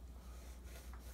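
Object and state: Nothing is struck.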